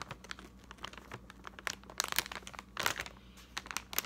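A large, full and hollow printed plastic bag of Unicorn Popcorn holding several smaller packs is held and squeezed by fingertips with painted nails. It gives quiet, bright, dry crinkles and crackles in irregular bursts, loudest around the two- and three-second marks, over a faint steady low hum.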